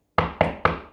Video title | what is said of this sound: Grade 5 Metals and non metals lesson 1 | if I knock it it's rigid it's hard it's hard it's not gonna break